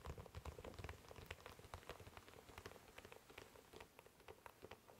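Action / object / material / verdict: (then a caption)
tap / leather dress shoe / leather / none. Fingertips drum rapidly on the leather upper and sole of an empty, glossy black leather dress shoe, held close and then off to the side. The result is a dense, irregular patter of soft taps like rain on a surface, with low, thumpy bodies and light, brief clicks. It is fuller and louder at first, then thinner and quieter toward the end.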